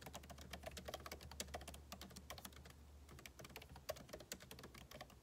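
Two hands type quickly with fingertips and short nails on a backlit MacBook Pro laptop keyboard, its plastic keycaps set in a hollow aluminum case. The result is a continuous stream of short, crisp, clicky key taps with bright edges that die away almost instantly, over a faint steady low hum.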